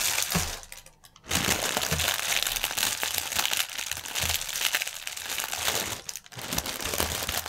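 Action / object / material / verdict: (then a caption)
scrape / plastic air-pillow packaging film / plastic / none. Fingertips of both hands press and rub a clear plastic air-cushion packaging strip resting on a table. The result is dense, bright crinkling and crackling that runs almost continuously, dropping off briefly near the one-second mark and again just after six seconds before resuming.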